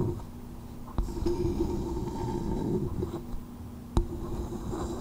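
A small, hollow coconut shell bowl held over a microphone is tapped with long nails and cupped with fingertips. Sharp, bright clicks stand out over a muffled, low, hollow rumble with a steady resonant hum.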